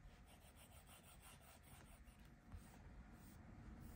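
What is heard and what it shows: A plastic stylus tip rubs across the flat glass touchscreen of an iPad Pro tablet in fast, scribbling strokes. The result is a quiet, continuous, soft rubbing with a low, dull body and faint, irregular brighter scratchy streaks, growing slightly louder in the second half.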